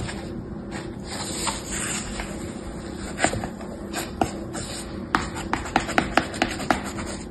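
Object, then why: Kinetic sand in a plastic tray, scraped with a plastic toy shovel. A small orange plastic toy shovel held in the fingertips scrapes and smooths a solid layer of moist beige kinetic sand filling a shallow mint-green plastic tray. A steady soft, hissy rubbing continues throughout, broken in the second half by a run of short, sharp scraping clicks.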